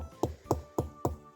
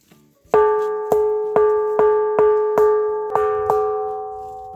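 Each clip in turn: First: Four short, dull knocks with a low thud and no ring: a broken rock piece sitting firmly bedded in the ground. Second: Eight clear strikes on a boulder, each ringing a bright bell-like tone near 430 Hz that sustains for seconds.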